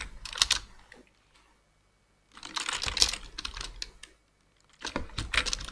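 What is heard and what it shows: Both hands type rapid fingertip key taps on a black plastic full-size computer keyboard. Three bursts of bright, clicky tapping are separated by short pauses of near silence, each tap sharp and quickly damped.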